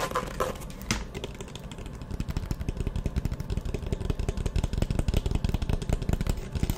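A hollow, map-print faux leather hard-shell eyeglasses case, held partly open near the mic, is tapped and scratched with long nails. The first two seconds carry softer scratching, then a dense run of quick, irregular taps follows, each short, dry and low-heavy with a hollow thump.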